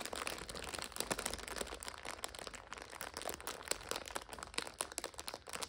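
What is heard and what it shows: Long nails scratch and press a full purple instant noodle multipack in its plastic overwrap, making it crinkle. The result is a dense, continuous stream of bright, crackly plastic crinkles with sharp snaps scattered throughout and almost no low end.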